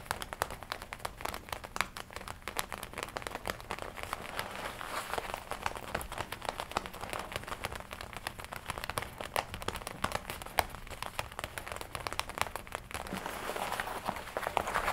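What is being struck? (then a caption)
Leather jacket panel. Long nails tap and scratch the red leather front panel of a worn black and red leather biker jacket. The result is a steady stream of dense, short clicks and crinkling scratches with a bright, papery edge, continuing without a break for the whole clip.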